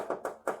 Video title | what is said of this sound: Motorola 65 inch 4K QLED TV 2025 Model - Unboxing & Review - Sasta Smart Google TV 2026 ⚡⚡ | ये चीज मेटल है। ठीक है? आवाज से पता लग रहा होगा। नीचे यहां तक पूरा मेटल है।